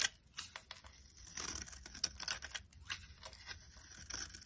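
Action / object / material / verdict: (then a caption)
scrape / bar of soap / soap / none. A box cutter blade carves layered flakes off a solid yellow bar of soap held in the hand. The result is a quiet run of short, dry, bright scraping and crackling cuts, with a crisp, papery texture and almost no low end.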